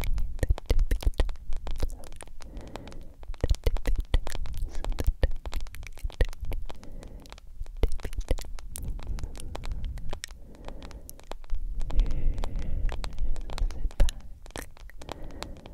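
A hand-sized smartphone with a black glass screen in a yellow plastic case is held in both hands and tapped and scratched with long acrylic nails. The result is a dense, continuous stream of quick, dry clicks and scratchy scraping over a soft, low rumbling body. The sound rises and falls in loudness throughout.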